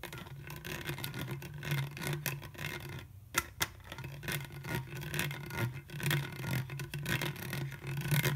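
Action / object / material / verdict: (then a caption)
scrape / ridged plastic juice bottle / plastic / none. An empty, hollow, clear ridged plastic Welch's juice bottle with a white plastic screw cap is held sideways while fingertips and nails rub and trace along its ridged neck. A steady stream of scratchy rubbing and quick ticking rasps runs over a constant low hum, with two sharper clicks standing out partway through.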